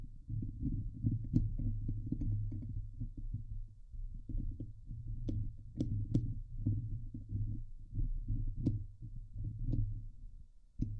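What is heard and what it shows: Long nails scratch the hollow steel mesh dome grille of a Blue Yeti microphone, producing a dense, muffled rumbling scrape that sits almost entirely in the low range, with a steady hum around 105 Hz. Short, sharp clicks with bright tips cut through the continuous rasping at intervals throughout.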